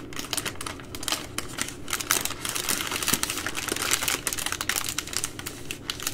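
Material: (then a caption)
Plastic film. Long nails scratch and tap the plastic film at the edge of a full three-pack of baby wipes in plastic overwrap. The result is a steady run of quick, bright crinkles and clicky taps that come in uneven bursts, with each tap dying away almost at once.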